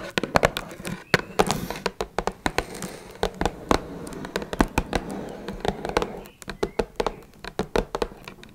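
Long red nails tap rapidly across the top and sides of a small, closed, hollow blue Twinings cardboard tea box. The taps are short, dry, hollow clicks with a low-mid body and bright tips that die out almost instantly. They come in quick uneven bursts over a faint steady background hiss.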